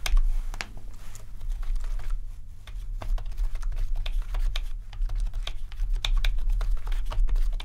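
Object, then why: Plastic membrane keyboard. Fingertips type continuously on a full-size, rainbow RGB-backlit plastic membrane keyboard, producing a rapid, uneven stream of soft, bright key taps. A steady low hum sits underneath the typing throughout.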